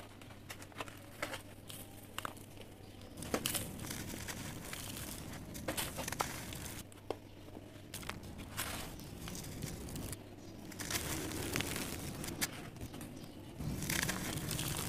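Two bare hands with short nails press, rub and crumble a large, bowl-shaped dome of dry, crumbly grey sand cement sitting on cardboard on the floor. The result is a steady, gritty crunching and crinkling, dotted with sharp crackles and snaps. The solid dry mass breaks apart into loose pieces.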